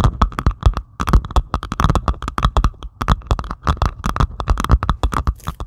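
Long pointed acrylic nails on both hands scratch and tap across a flat diamond painting canvas covered in small plastic resin drills, lying on a table. A rapid, uneven stream of short, dry clicks and taps with soft low thumps and a faint scratchy hiss between them, each hit dying away almost instantly.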